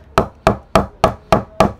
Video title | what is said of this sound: ENGLISH VS KASHMIR WILLOW Cricket Bat - Difference ? | आवाज से पता चल जाएगा कि लकड़ा जो कितना हल्का है